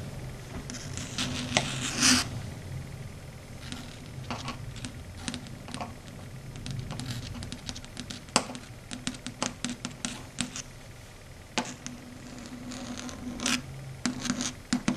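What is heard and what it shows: Long red stiletto nails tap rapidly on and rub across a flat, matte, dark grey chalkboard. Sharp, bright clicks scatter irregularly over a soft, scratchy rubbing texture and a steady low hum. A denser burst of scraping rises near the two-second mark.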